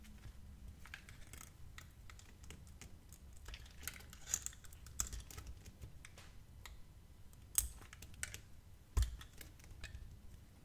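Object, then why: Bar of soap cut with a metal blade. A metal utility blade slices and scrapes thin strips off a hand-sized solid bar of purple-blue metallic soap that is held in the hand and pre-scored into grooves. The result is quiet, dry, crisp clicks and scraping ticks over a low background rumble. A few sharper, brighter snaps stand out as the blade cuts through.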